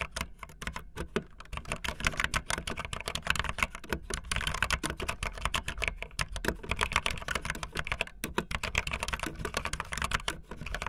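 A full-size backlit optical linear mechanical keyboard with white and blue plastic keycaps and a blue case sits solid on a desk. Fingertips with long light-blue nails type fast on it. A dense, steady stream of short, bright plastic clacks and taps plays throughout, each dying almost instantly, with a low thump under the key strikes.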